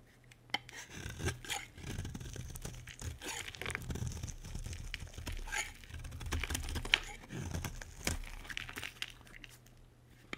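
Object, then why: Dry bar soap. A solid, dry white bar of soap is held in the hand and shaved with a metal utility blade. Continuous dry, crumbly scraping and cutting strokes carry a bright, crackly texture over a low rumble, with a few sharp clicks where the blade catches.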